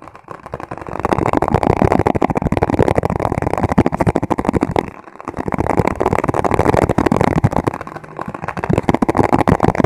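An empty, hollow white plastic margarine tub with a printed label is held upside down and tapped on its sides and base with the fingertips. Rapid, dense streams of dull, hollow plastic taps run almost continuously, with a brief lull around the five-second mark. Each tap is short and dry with no ring.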